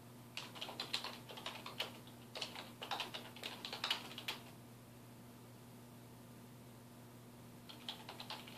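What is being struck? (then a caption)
Plastic computer keyboard. Fingertips of both hands type on a black plastic computer keyboard resting on a wooden desk, producing quick, bright, short key taps over a steady low hum. A burst of typing runs for about four seconds, then stops, and a few more taps return near the end.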